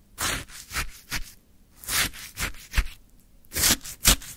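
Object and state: Orange shaved ice scraped in a plastic cup.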